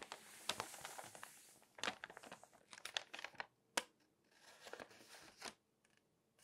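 A glossy paper magazine lies open while long nails scratch and rub across its pages, then flip a page. Bright, crisp crinkling and papery swishes come in quick bursts with sharp clicks between them, and almost no low end.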